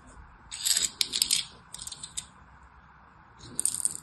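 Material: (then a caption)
Soap. A small knife blade carves and scrapes the surface of a hand-size solid bar of orange and white striped soap held in the hand, shaving it into crumbs. Bright, crisp scratching rasps come in three bursts with short quiet gaps between them.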